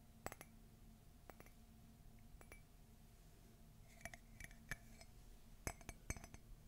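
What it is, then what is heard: Ceramic mug, empty. A white glossy ceramic Mickey and Minnie Christmas coffee mug, hollow and empty, is held and tilted while long fingernails tap its outer wall. Sharp, bright clinks ring out in irregular clusters, each decaying almost instantly over a low, steady hum.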